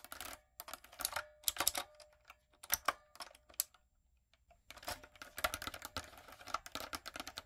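Fingertips and long acrylic nails type on a light-up, typewriter-style plastic mechanical keyboard with round plastic keycaps. Quick, bright clicks come in irregular bursts, pause for about a second near the middle, then pick up again as dense clattering.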